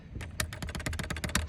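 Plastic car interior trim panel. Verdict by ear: Loose.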